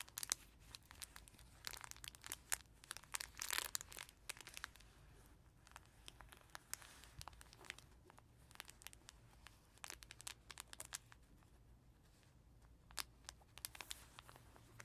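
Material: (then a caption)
Fabric, plastic film. Fingertips and natural nails scratch, rub and crinkle the pages of a small, soft, thin cloth baby book with a tiger face and a crinkly layer inside. The result is bright, dry crinkling, with a dense burst of sharp ticks and rustles early on, then quieter, sparser scratching that picks up again near the end.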